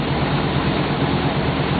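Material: Nothing is struck.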